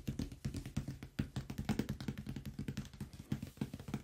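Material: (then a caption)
Cardboard. Fast fingertip and fingernail tapping across the top and side of a large, closed cardboard product box. The result is a rapid, continuous stream of short, dull, hollow taps with a low body that die away almost at once. Occasional brighter nail clicks cut through the quiet, steady patter.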